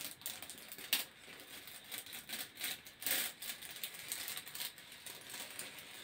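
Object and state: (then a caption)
Corrugated plastic hose being scratched. Fingertips scratch the ribbed surface of a hollow grey corrugated plastic hose. The result is a quiet, bright, hissy rasping made of quick irregular strokes, with a few louder scrapes standing out and almost no low end.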